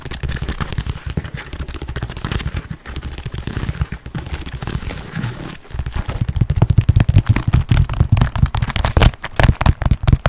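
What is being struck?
Quilted leather handbag.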